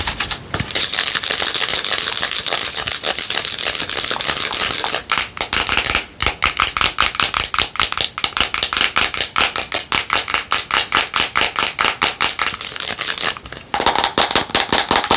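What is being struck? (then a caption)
Plastic bottle. A hollow, cylindrical plastic bottle with a green cap and label, held in a lap, is tapped and scratched rapidly with long nails. A bright, hissy scratching opens the clip, then gives way to a fast, dense stream of sharp, crisp clicks. The clicks are mostly high-pitched, with almost no low end.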